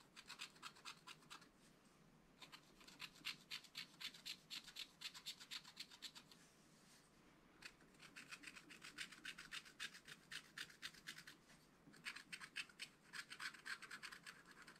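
A wooden stylus held in the fingers scratches away the black coating of a flat black-coated scratch art card in a spiral pad on a table, revealing colour underneath. The result is four bursts of quick, dry, bright scratching strokes at about four per second, separated by short quiet pauses.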